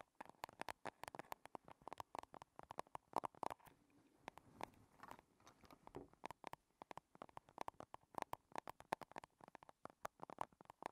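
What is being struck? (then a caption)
Small metal cosmetic compact case. A small, hollow, rigid chrome metal compact case, shiny silver and square, rests on a table and is tapped on its sides with long red nails. The result is a rapid run of dry, short clicks that are close together, carrying a mid-range ringing tone with brief bright edges and little low end. A few pauses break up the tapping.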